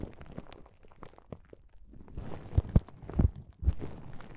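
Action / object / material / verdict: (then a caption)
scrape / plastic bubble wrap pouch / plastic / none. Fingertips and palms rub and press across a flat plastic bubble wrap pouch, giving soft, irregular crinkling and crunching with bright crackles over a low rumble. The rustling starts faint and sparse, then turns denser and louder in the second half, with a few sharper crunches standing out.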